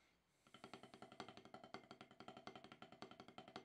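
Wooden drumsticks tap quickly on a solid octagonal HQ rubber-top snare practice pad. After a brief quiet start, 34 short, dry taps follow in a steady flurry, each one a dull mid-pitched knock with almost no ring.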